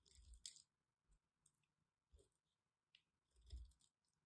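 A small metal blade cuts and scrapes the surface of a solid, hand-sized white bar of soap held in one hand with long red nails, shaving off flakes. Seven quiet, crunchy scraping bursts each pair soft low thumps with a bright, crisp crackle. The bursts are separated by brief near-silence.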